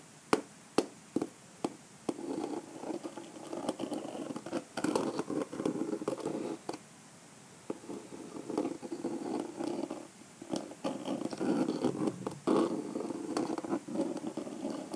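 The end of a pink calendar block taps and scratches into the rhinestone cluster on the cream covering of a small, hollow, egg-shaped hard-shell clutch purse. A few separate sharp clicks open the clip, then give way to dense, gritty scratching in the low mids with bright ticks, broken by short pauses and scattered taps.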